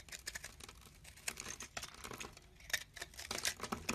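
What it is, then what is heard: Soap bar being carved. A hand-sized solid bar of green and white marbled soap, held in the palm, is scraped and carved with a box-cutter blade as soap shavings flake off. Quick, dry scraping and crisp, bright ticks come in rapid bursts, with almost no ring and little low end.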